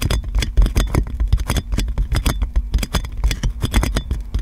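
Long nails scratch and tap quickly on clear plastic cling film wrapped around a metal microphone. The result is a steady run of close, crinkly crackles and soft taps, each with a deep, muffled thump and a quick, bright rustle that dies away almost at once.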